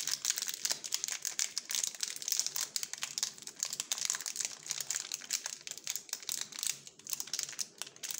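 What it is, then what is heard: Crinkling plastic film wrapper. Gloved fingertips squeeze and crinkle the purple glossy plastic wrapper of a small Jumka waffle bar, still full and sealed. Dense, rapid crinkling runs steadily throughout, bright and crisp with almost no low end, each crackle dying away quickly.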